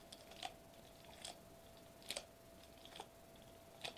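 Fingertips tap a flat sheet of silver metallized plastic bubble wrap lying on a white table, with one hand lifting between taps. Sparse, irregular crisp ticks and crinkly clicks, some in quick pairs, sound bright and dry with almost no ring. A faint steady mid tone and low hiss sit underneath.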